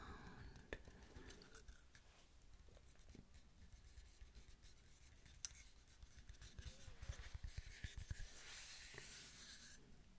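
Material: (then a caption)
Wood. Long nails scratch and rub across the surface of a solid, round wooden tree slice coaster with a bark edge, held in the hand. The sound is a quiet, steady, dry scratching with occasional sharp ticks and clicks, growing busier toward the end as a bright, hissy rasp swells before fading.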